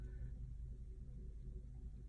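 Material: Nothing is struck.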